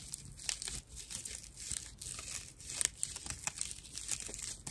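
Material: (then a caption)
Plant fibre. A dry, hand-sized natural loofah pad of fibrous plant material is held in both hands and scratched with long nails. The result is a quiet, continuous run of rough, crackly scratching and crinkling, mostly bright and hissy, with small sharp ticks throughout.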